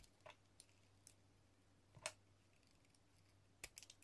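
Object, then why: Bar soap cut with a metal blade. A metal utility-knife blade shaves long, thin ribbons off a hand-held, solid yellow translucent soap bar embossed with "200 GR". Quiet, short, bright scraping cuts come at irregular intervals, each dying away almost at once, over a faint steady low hum.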